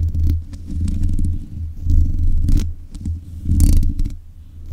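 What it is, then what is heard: Metal microphone grille being scratched. Long nails scrape the hollow mesh grille of a black metal desk microphone, producing a low, rumbling scratch that swells and fades in uneven waves. Brief bright, hissy flicks of nail against mesh cut through in places.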